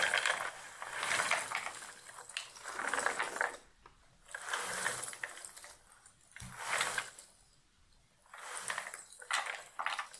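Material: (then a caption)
Cardboard. A shallow cardboard box lid full of loose cardboard jigsaw puzzle pieces is tilted and shaken, so the pieces slide against each other and against the cardboard. Bursts of dry, bright rattling and scraping swell and fade, separated by short quiet gaps. The sound is concentrated in the midrange and highs, with no low rumble.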